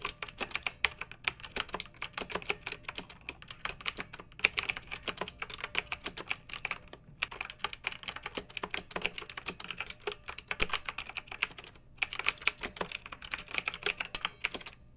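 A pink backlit plastic mechanical keyboard with round typewriter-style plastic keycaps, resting on a fluffy rug, is typed on with the long nails and fingertips of both hands. Rapid, bright, crisp clacks and taps come in steady bursts, with brief pauses near 7 and 12 seconds. Each click dies almost instantly, with very little low-end thump.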